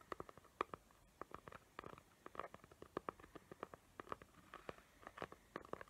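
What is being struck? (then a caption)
Cardboard gift box covered in glitter paper. Long nails rapidly tap and scratch a small square cardboard gift box covered in glitter paper with raised hot-glue tree shapes. The result is a quick run of short, dry clicks and light scratches that stop dead, with a papery midrange tone around 1.2 kHz over a quiet background.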